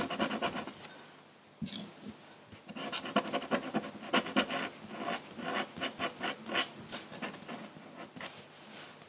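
A metal dip-pen nib in a wooden holder scratches continuous hatching strokes across a large flat sheet of drawing paper resting on a table. The result is a quiet run of short, dry, bright scratches and rasping rubs that come in quick bursts with almost no low end.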